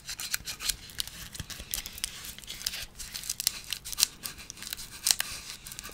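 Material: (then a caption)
Plastic, metal. A handheld yellow plastic electric bug-zapper racket with a metal wire mesh grid is held by the handle close to the microphone while fingers scratch and rub along its frame and mesh. The result is a steady run of crisp, bright scratching ticks and scrapes, with sharp high clicks standing out and almost no low end.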